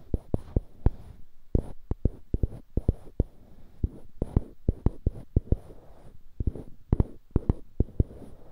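Two small solid light-wood cubes fixed to the ends of polished dark-wood cylindrical handles, one held in each hand beside a binaural mic, are rubbed and scratched with the fingertips. Short, dry clicks and taps rise out of a soft, continuous scratching, each dying away almost at once. The clicks land at an uneven pace throughout, with a faint high hiss above the low body of the sound.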